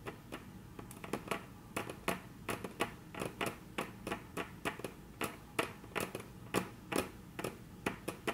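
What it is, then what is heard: Wooden tabletop tapped with fingernails. Very long natural nails tap rapidly on a flat, solid, dark brown wood-grain tabletop, making about 30 short, dry clicks with a bright edge and a low woody knock. Each tap dies away almost at once over a faint steady background hum.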